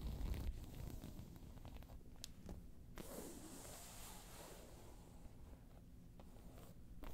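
A round tan crocodile-embossed faux leather handbag is scratched with long nails, giving quiet, dry, rasping scrapes over a low rumbling background. Brief bright clicks punctuate the scratching before the bag is lifted.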